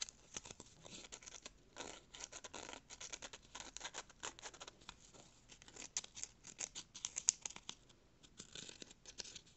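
A small brown corrugated cardboard piece has its ridged edge scratched and rubbed with fingernails. The result is a quiet, dense run of short, crisp, bright scratching ticks and rasps with almost no low end, coming in uneven bursts.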